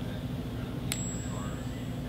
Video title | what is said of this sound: How To Spot Fake Silver Coins & Counterfeit Coins Quick Tips by Sahara Coins | it sounds completely different it's a real shallow ring it doesn't have that deep resonating sound that silver does